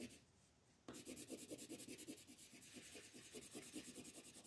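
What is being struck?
Colored pencil on paper sheet.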